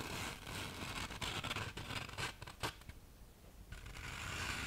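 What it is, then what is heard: Fine-grit sandpaper sheet. Long nails and fingertips scratch and rub the gritty surface of a thin black fine-grit sandpaper sheet, slightly bent at the end and held close to the mic. Dry, bright, rasping strokes come in uneven bursts, with a sharp scratch near the middle. A quieter patch follows before steady rubbing resumes.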